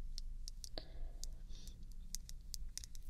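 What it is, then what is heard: Glass nail polish bottle tapped with fingernails. Long red nails tap a small, square, full purple glass nail polish bottle held in the hand, making a run of short, sharp, bright clicks. The clicks die away quickly over a steady low hum, with a brief soft scrape partway through.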